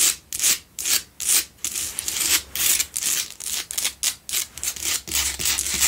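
Long acrylic nails scratch the rough surface of a large, solid pink Himalayan salt double candle holder with two tealight holes, lit from within. Quick, uneven bursts of bright, dry rasping follow one another, each stroke cutting off sharply with almost no low end or ring.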